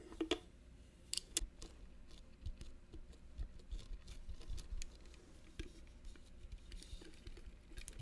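Fingernails tap a small, hollow, rigid metal mosaic clutch purse with brass studs and red inlays, held close. The result is a scattered run of sharp, bright, clicky taps that die away almost at once, over a faint low rumble.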